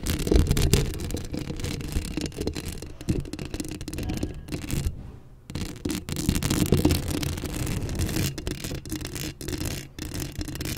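Long acrylic nails scratch the top of a Blue Yeti microphone's hollow steel mesh grille, producing a dense, irregular rasping that sits heavily in the low end. The scratching runs almost continuously, with a brief near-silent pause around the middle before it resumes.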